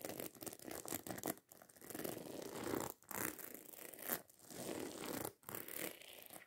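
Long nails rapidly scratch and tap across the rows of small silver metal studs covering a hollow black fabric handbag. This produces dense, crackling, zipper-like scraping in several bursts, separated by brief near-silent pauses.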